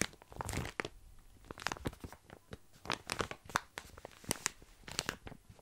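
Fingers tap, scratch and rub the surface of a full plastic bag of tiny dry pasta held close to the mic. The result is a series of sharp, crinkly crunches and rustles, bright and dry with almost no ring, separated by brief quiet gaps.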